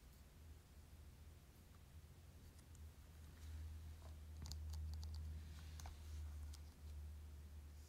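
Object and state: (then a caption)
Plastic video game case. A Pokémon Let's Go Pikachu Nintendo Switch game case, a thin hollow plastic box with a cover sleeve, is held in the hand and tapped and scratched with fingertips and short nails. Quiet, light clicks and soft scratching come through mostly in the middle of the clip, over a steady low hum.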